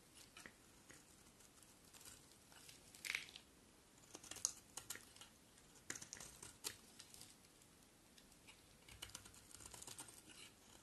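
A solid rectangular white bar of soap, held in one hand, is shaved and carved with the metal blade of a box cutter (utility knife), and curls of soap fall onto a pile. Quiet, crisp scraping and crackling bursts come in irregular clusters, bright and high with almost no low end. Each cut stops dead with no ring.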